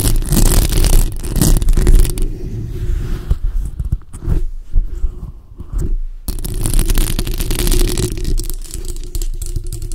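Long acrylic nails scratch the front and sides of the hollow metal mesh grille on a bare black microphone. The result is a dense, boomy, low rumbling scrape with rapid crackling texture. It thins to quieter, sparser scratches in the middle before returning to full, continuous scratching.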